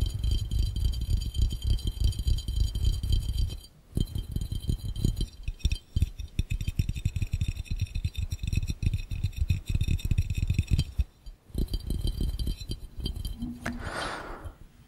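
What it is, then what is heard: Glass fishbowl. Both hands tap fast with the fingertips on the base of a clear, empty glass fishbowl held over the lens, making a dense, rapid patter of dull, low thumps with a faint high ring above. The tapping pauses briefly near 4 and 11 seconds, then fades into a soft, brighter rustle at the end.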